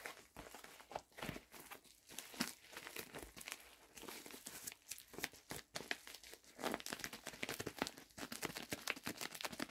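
A medium-size pink poly bubble mailer envelope, hollow and apparently empty, is squeezed and crinkled with fingertips and palms. The clip is a dense run of sharp, bright crackling and crinkling bursts with very little low end.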